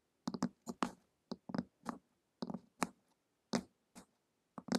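Long acrylic nails tap the glossy printed cover of a flat, solid hardcover book lying on a table, in a ticking rhythm. The sound is a series of short, dry clicks in small clusters, with a low thud and a bright tick on each tap. The clicks die away almost instantly, leaving quiet gaps between them.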